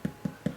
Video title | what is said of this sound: Country Style Loaf of White Bread - One Pot Chef | if it sounds hollow, then it's cooked all the way through